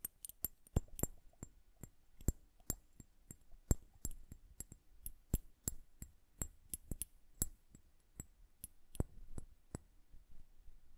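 Long nails tap both glass bulbs of an hourglass held horizontally and filled with blue liquid and bubbles. Around 27 quick, sharp, bright clinks ring only briefly, with quiet, uneven pauses between them.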